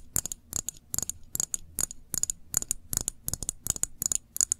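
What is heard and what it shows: Long acrylic nails tap and scratch the glass sides and paper label of a small glass jar full of cranberry jam with a metal screw lid, held in both hands. Quick clusters of bright, high clicks come in a steady rhythm, each dying away almost at once, with soft scratchy texture between them.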